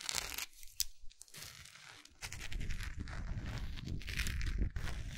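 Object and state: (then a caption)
Wax pillar candle. Long acrylic nail tips tap and scratch the textured side of a large solid orange wax pillar candle. Dry, crackling scratches and quick taps give a bright rasp over a low rumbling rub, growing denser and louder through the second half.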